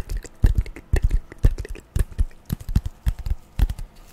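Long nails tap and scratch a long, flat strip of brown corrugated cardboard, which is later folded. The taps come as a quick, irregular patter of short, dull, low thuds with faint scratchy texture and almost no ring.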